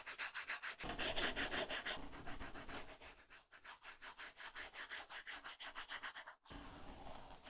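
A plastic stylus tip scratches and rubs in quick repeated coloring strokes across an iPad's glass screen under a flat, solid, matte paper-like plastic film. The result is a steady, bright, papery scratching, with many short back-and-forth strokes that are loud at first, softer and evenly paced in the middle, and broader and smoother at the end.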